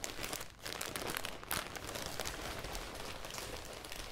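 A thin, clear, crinkly plastic garment bag holding a folded cream sweater is held close to the mic while long dark-red nails and fingertips crumple and scratch it, and it is then lifted partly away. The sound is a dense, continuous crinkling and crackling with bright, sharp scratches, dipping briefly near the half-second mark before rising again.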